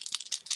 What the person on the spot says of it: shaking it and we want to make sure we hear that noise